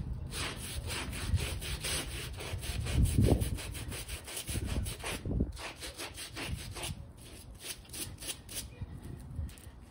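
A small, slightly damp, rectangular shaggy fabric bath rug with long fringe rows, light pink turned gray, lies on a foam mat while one hand holds it and the other scrubs it with a small plastic detail brush. Quick, uneven back-and-forth strokes make a soft, muffled scratching with bright bristle hiss over a low rumble, peaking in a louder burst around three seconds before settling into quieter scrubbing.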